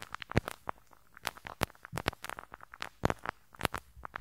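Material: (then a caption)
Metal mesh. The small, hollow metal mesh grille over the right capsule of a handheld stereo recorder is scratched with a pink rubber-bristle brush. The result is a quick, irregular run of sharp, dry crackling snaps and pops with broad, bright transients over a low rumbly bed.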